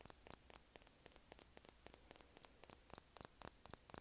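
A small, partly filled glass foundation bottle with a white plastic cap is held up in both hands and tapped with long painted nails. About twenty quick, quiet taps land in an uneven rhythm, each a sharp bright click with a faint high glassy ping that dies away almost at once.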